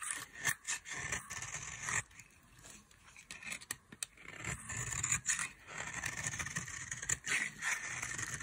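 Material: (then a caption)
Soap. A metal blade carves a solid oval bar of dry yellow soap held in the hand, peeling it into curled shavings. Repeated dry, bright scraping and cutting strokes come in short bursts separated by brief quieter pauses.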